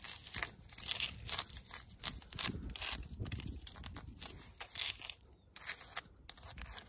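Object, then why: Natural stone rock surface. Long pointed nails scratch and tap across a large, rough natural rock outcrop with embedded pebbles and some moss. The result is dense, crackly, bright scraping with many short clicks in bursts and no ringing.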